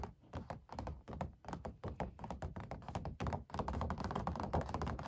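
Fingertips and long black nails tap and scratch the paint of an oil painting of a puppy on stretched canvas, with the canvas hollow behind. Rapid, irregular soft thunks sound with a low, hollow body and short ring, growing denser and louder toward the end.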